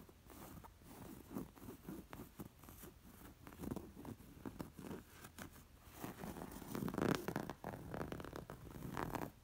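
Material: Linen fabric.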